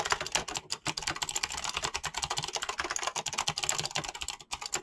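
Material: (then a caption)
PBT plastic. Fingertips type quickly and continuously on a mechanical keyboard with pink-blue PBT plastic keycaps. The clicky switch presses make a dense stream of bright, sharp clacks with almost no ring and little low end.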